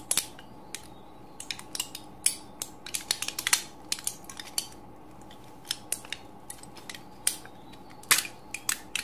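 A flat, mostly empty aluminium foil-and-plastic pill blister strip of about ten cavities, many already pushed in, is held in both hands while fingertips and thumbs press and crinkle the foil cavities. Sharp, bright crackles and snaps come in irregular bursts and clusters over a faint steady background hiss, each dying away almost instantly.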